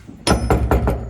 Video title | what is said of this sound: Let out on a long lead today Widnes Bridge | It sounds empty. Yeah, there's nothing in it.